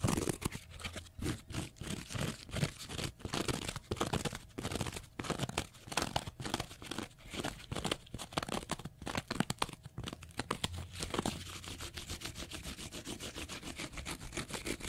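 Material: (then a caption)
Cellulose. A small block of pale green porous cellulose sponge is scratched with fingernails, making rapid, rhythmic bursts of dry, crunchy scraping with a bright, crackling texture. Around the eleven-second mark the strokes blur into a steadier, softer continuous rasp.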